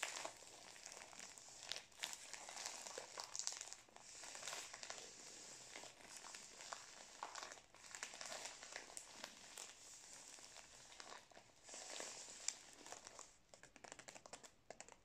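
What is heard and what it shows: Fingers squeeze and crinkle a full, plastic-wrapped Prince biscuit roll held close to the mic. The result is a quiet, steady, bright crackling and crinkling of the wrapper, with louder bursts of sharp crackle throughout.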